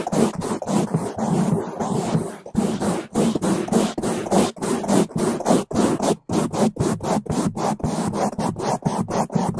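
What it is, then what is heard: Foam microphone windscreen brushed. Two bamboo toothbrushes, one with white bristles and one with blue, held in gloved hands brush fast over both sides and the top of a black foam microphone windscreen. The result is a loud, rapid run of rough, broadband scratching and rubbing strokes, with a full low rumble under bright, hissy bristle noise.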